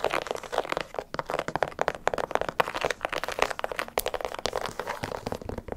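Long acrylic nails tap and scratch the upper and side of an empty, hollow light blue, white and yellow leather sneaker held by hand next to a microphone. A dense stream of quick, dry clicks and crinkly scratches sits mostly in the midrange, with little low end. Each tap cuts off almost at once.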